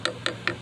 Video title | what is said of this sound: how to replace the door handle on a 88/98 Chevy/gmc Silverado Yukon suburban Escalade under $10 | that's definitely plastic this is metal though